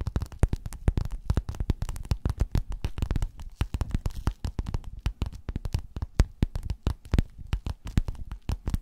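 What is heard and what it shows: Long nails scratch and tap, using both hands, across a flat, padded, gold, quilted metallic faux-leather cover. A fast, uneven stream of short, dull, muffled taps runs throughout, with soft scratching between them. Each tap dies away almost instantly.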